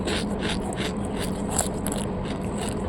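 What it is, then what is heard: Crisp baked kunafa pastry. Baked kunafa pastry, shaped into sandwiches, bracelets and fingers, is broken or bitten and gives dry, crackly crunching bursts. Bright crackle rides over a steady low hum, and the crunch shows the pastry is baked crisp.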